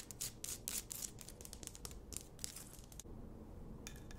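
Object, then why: Rock-salt lamp on a wooden base. Long nails scratch a large, solid pink Himalayan rock-salt lamp on a wooden base, held in both hands. Bright, dry scraping bursts come in quick strokes for about three seconds over a low rumbling background. The sound then drops to a quiet hiss, with a faint, thin rasp near the end.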